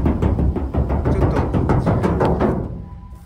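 The bare, undamped steel roof panel of a Suzuki Every kei van, before any sound-deadening material is applied, is knocked from above in many places as a baseline. It gives a rapid, uneven series of deep, boomy thuds. The roof rings loudly and sounds distorted, then fades out at the end.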